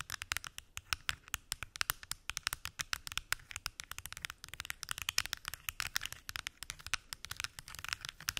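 Long acrylic nails tap and scratch rapidly across the lids of a large, hollow, translucent plastic weekly pill organizer with many small lidded compartments. The result is a dense, irregular stream of sharp, bright clicks mixed with scratchy rasps. Each tap is dry and dies away instantly, with very little low end.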